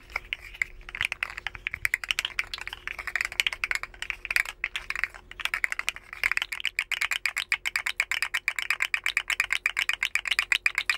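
A hand-sized, rainbow, segmented hollow plastic slug fidget toy is held in both hands and bent and flexed with the fingers, so its jointed segments click against each other. Dense runs of short, bright plastic clicks play out unevenly and speed into a quicker, steadier clatter toward the end.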